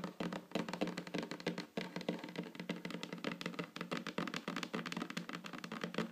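Long fingernails on both hands tap in quick patterns on a solid, flat wooden tabletop. The result is a dense, continuous stream of short, dry clicks and knocks with brief ringing and a warm midrange body.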